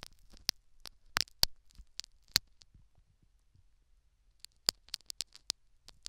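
A metal syringe needle picks and scratches at the foam canal plug and the canal edge of a silicone dummy ear microphone. About fourteen sharp, bright clicks and scrapes come in two clusters, separated by a quiet pause in the middle. Each tick dies away almost instantly over a faint low rumble.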